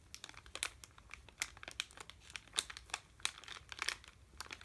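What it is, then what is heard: Plastic candy bag being crinkled. A sealed red plastic M&M's bag, full of candy, is held in both hands and crinkled and rubbed with the fingertips. It makes a quiet, steady stream of sharp, bright crackles with brief louder pops scattered throughout. There is almost no low end.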